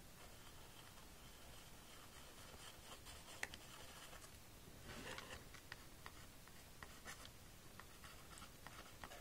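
A small pink plastic magnetic drawing board lies flat on a table while a white plastic stylus draws and scratches across its screen. Soft, quiet scratching and rubbing continue throughout, broken by sharp little taps and a brighter burst of scraping around the middle.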